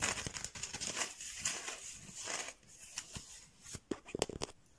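Fingernails and fingertips scratch and tap across a flat mat of thin painted bamboo slats joined with string. Dry, crackly scratching with a bright, rustling texture comes first, then sharp, quick clicking taps near the end.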